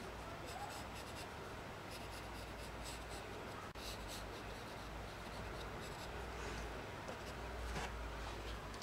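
A blue colored pencil held in the fingertips sketches lines across a single thin sheet of white paper lying flat on a table. Its tip makes a steady, soft scratching with brief bright strokes over a low hum, and there is one short dropout near the middle.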